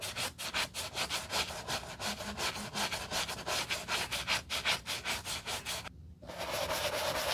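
A white leather low-top sneaker, hollow and held in a gloved hand, has its upper scrubbed with a wooden-handled horsehair brush and cleaning foam. Quick, rhythmic back-and-forth brushing strokes produce a bright, hissy scratching that repeats steadily, then drops out briefly. It returns as a more continuous, even rubbing hiss.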